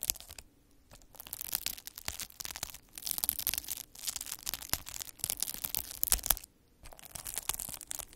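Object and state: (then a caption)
Plastic bubble wrap. A hand-held metal-needle derma roller is rolled back and forth across a large sheet of clear plastic bubble wrap, crushing and pricking the air-filled bubbles. Bright, dense crackling and crinkling comes in bursts of sharp snaps, broken by short quiet pauses between passes.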